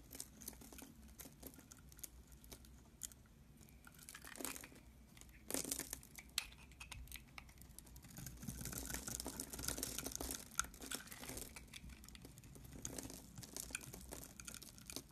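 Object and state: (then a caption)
Bar of soap being cut. A utility knife blade scores and cuts a yellow and white striped solid bar of soap, held in one hand, into small cubes, scraping through the soap. Soft, crisp scraping and crunchy crumbling sounds are heard, with bright texture and occasional sharper snaps. The cutting stays quiet and close, with louder bursts as the blade slices through.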